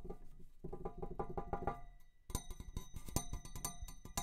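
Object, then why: Metal tube. A metal tube is tapped in a quick series of light taps. The first half has softer, duller thuds, and after a brief pause the taps turn sharper and brighter, with thin high tones that fade almost at once.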